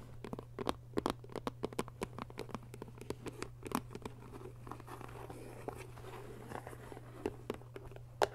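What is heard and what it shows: Fingertips and short nails scratch and rub the paper label and body of a handheld, hollow white plastic school glue bottle, its fill level unseen. Rapid, crisp ticks and scratchy taps cluster through the first half, then settle into a softer, continuous rubbing with scattered clicks. A steady low hum sits beneath throughout.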